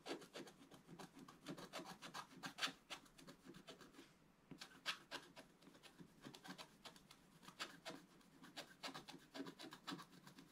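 A wooden stylus scratches across a flat, black-coated scratch art card in rapid, short strokes, making dry, bright, rasping scrapes. The strokes come in quick, uneven bursts with a brief pause just past the four-second mark before the scratching resumes.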